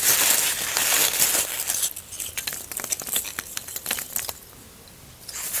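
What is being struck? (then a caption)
Expanded polystyrene foam block. Fingertips dig into, scratch and crumble the surface of a large, solid white expanded polystyrene (styrofoam) block that has already been carved and crumbled. A dense, bright, hissing scratch fills the first two seconds, then breaks into scattered crisp crackles and squeaky snaps. After a brief quiet stretch, the scratching returns at the end.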